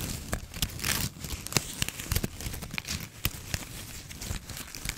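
A red and white plastic ribbon gift bow is squeezed and scratched with long nails close to the mic. The result is a dense run of crinkling, crackling plastic with many sharp, bright clicks and a soft low rustle underneath.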